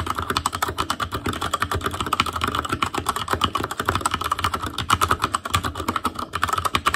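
Continuous fingertip typing on the plastic keycaps of a black plastic Asus Claymore Core mechanical keyboard. It produces a rapid, steady stream of short, sharp clicks and clacks with a bright tonal edge around 1.3 kHz and almost no ring after each keystroke.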